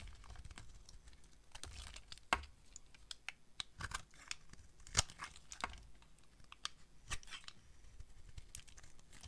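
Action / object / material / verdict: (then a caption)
scrape / bar of soap carved with a knife blade / soap / none. A utility knife blade carves curls off a solid pink rectangular bar of dry soap held in the hand. It makes short, crisp scraping and crackling cuts at an irregular pace, with bright edges and a few louder snaps over a low background rumble.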